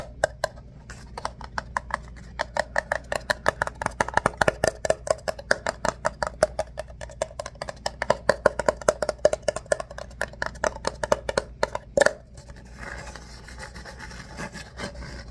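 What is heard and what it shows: An empty, hollow ribbed paper coffee cup, held upside down, has its ribs and base scratched and tapped with the fingernails. A rapid, steady run of many short, dry clicks rings with a faint hollow tone near 580 Hz over a soft scratchy bed. After about 12 seconds the sharp taps mostly stop, leaving a quieter, bright, rustling scratch.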